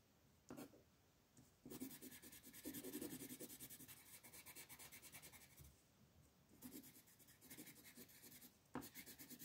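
A light green wooden colored pencil is rubbed in repeated back-and-forth coloring strokes across a thin white paper coloring sheet on a wooden desk, while the other hand, with red nails, steadies the paper. Runs of quick, dry, scratchy strokes with a bright rasp come and go, with brief quieter pauses between bursts of coloring.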